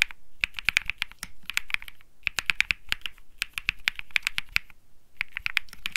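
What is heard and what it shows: Fingertips type quickly on a compact 65% Think 6.5 mechanical keyboard with an aluminum white case, PC plate, light plastic keycaps and Bsun Lollipop parts, resting on a felt mat. Dozens of short, crisp key clacks with a bright tap and a low thock come in rapid bursts, separated by brief pauses near two and five seconds. Each press stops dead with no ring.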